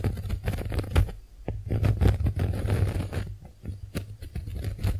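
Long nails scratch across the porous surface of a pink heart-shaped konjac face sponge, giving soft, crackly scraping and pattering sounds. Most of the energy is a low, dull rumble under close, short bursts of texture that rise and fall in loudness throughout.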